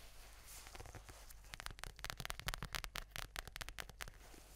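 Fingertips and long nails rub and scratch the furry cover of a mint-green faux-fur notebook with a "Chill Pill" patch, held close to a Razer Seiren X microphone. A soft, hissy brushing opens the clip, then gives way to a quick run of bright, crisp scratching strokes over a low rumble. The scratches grow denser in the middle and fade back to gentle rubbing at the end.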